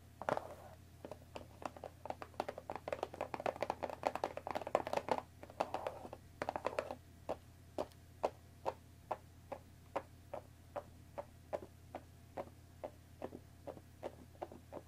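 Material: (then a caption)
Cardboard. Long nails tap the top edge of a hollow, cellophane-wrapped cardboard tea box resting on a wooden table. A quick flurry of crisp, crinkly taps and light scratching gives way to slower, evenly spaced sharp clicks over a faint steady low hum.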